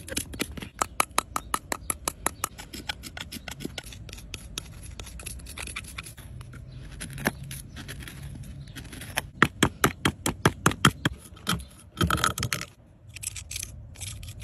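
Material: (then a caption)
Plaster. A purple plastic digging tool held in the fingers scrapes and chips at the white plaster interior of a hand-sized, rectangular solid plaster block with a gold-painted "Fairy Door" face, set in a cardboard tray. Dozens of quick, dry, bright scratches and clicks come in an uneven rhythm, with a short rapid flurry of scraping near the end. Crumbs of plaster fall into the tray.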